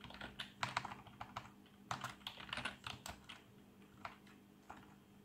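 Both hands type rapidly on a full-size black plastic membrane keyboard with RGB backlight resting on a desk, fingertips pressing and tapping the keys. Bursts of soft, muffled clicks with bright edges come in quick irregular runs that thin out toward the end, over a faint steady low hum.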